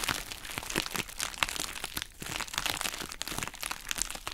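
A hollow, pink heart-shaped plastic bubble wrap pouch is squeezed and crumpled with both hands and long nails. It makes a steady stream of dense, bright crinkling and crackling with many small sharp snaps and no low body.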